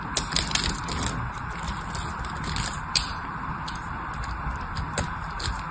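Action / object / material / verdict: scrape / bar of soap / soap / none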